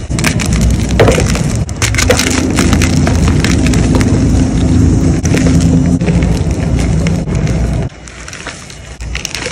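A palm-sized block of solid white gym chalk (magnesium carbonate) is crushed and crumbled between fingers with lavender-painted nails over a tray of chalk powder. It makes a dense, fast run of dry crunching and crumbling with a heavy low-end body and brief bright crackles. The sound stays steady before dropping quieter near the end.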